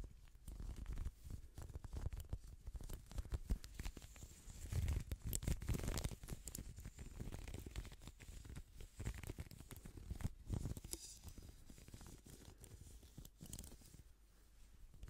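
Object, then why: Plastic hairbrush. Gloved fingers scratch and strum the bristles of a pink plastic hairbrush held close to the microphone. The result is a dense, soft, continuous run of crackling, tearing-like rustles with short bright ticks, weighted heavily toward a low rumble.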